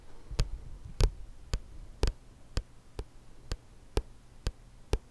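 Fingertips and nails tap the back cover of a thick, solid paperback book with a glossy card cover. Ten short, dry taps fall at a slow, slightly uneven pace, each a soft low thump with a bright click on top. A faint low hum runs underneath.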